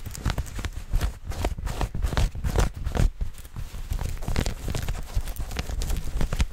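Soft, stretchy maroon knit fabric, like tights or leggings, is held bunched up right against the microphone and scratched quickly with long fingernails by hands wearing rings. Fast, dense scratching and rustling comes through as close, muffled thumps heavy in the low end, with brief brighter scrapes flickering over the top.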